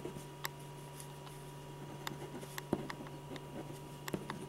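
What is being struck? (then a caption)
Ballpoint pen on a paper drawing sheet. A silver metal ballpoint pen draws a portrait in small scratching strokes on a large, thin, flat white paper sheet on an easel board, while the other hand rests on the sheet. About eight short, bright scratches and taps stand out irregularly over a quiet, steady low hum.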